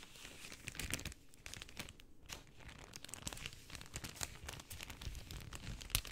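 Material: Cellophane.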